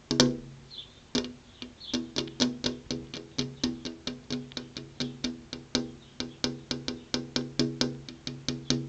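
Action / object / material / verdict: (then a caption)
tap / glass window pane / glass / none. A flat glass window pane with an insect screen behind it is tapped with long purple-painted fingernails, about 35 times in a steady, quick rhythm. Each tap is a sharp, bright click with a short, woody ring pitched around 250 Hz that dies away quickly.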